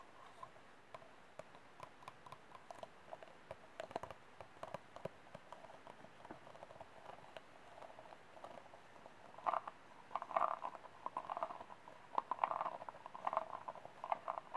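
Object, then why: Disposable plastic cup. Fingernails tap quickly in a clicking rhythm on an empty, hollow, disposable white plastic cup tilted in the hands. The taps are short and dry, with a hollow tone centered near 1 kHz, and grow louder and denser in the second half.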